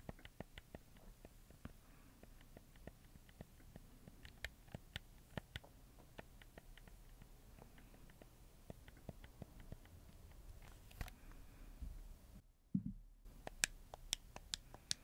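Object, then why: Plastic game controller. Fingertips click the buttons of a black PS4 game controller with a red D-pad, its hollow plastic body giving off sparse, short, dry clicks. The quiet taps come at an irregular pace over a low, steady rumble, with a brief hush near the end before a few sharper, brighter clicks.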